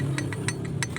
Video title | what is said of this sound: suzuki multicab hand work crankshaft reface | umaalog talaga siya. Malaki na yung clearance niya.